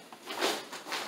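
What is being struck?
Nothing is struck.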